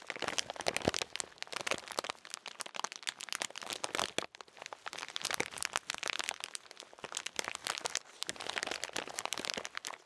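A full plastic bag of salted peanuts is crinkled and squeezed with the fingers. The result is dense, continuous, bright crackling and crunching with sharp, dry snaps throughout, and almost no low end.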